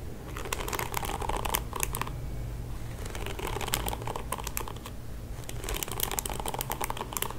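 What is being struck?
Plastic hairbrush bristles.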